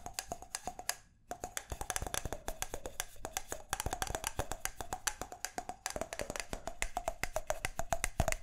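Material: Wood.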